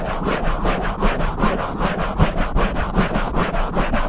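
Open palms and fingers rub and brush back and forth across a black foam windscreen on a silver Blue Yeti microphone. The result is a steady, rhythmic, low, muffled scratching and swishing with soft repeated strokes and little high-end brightness.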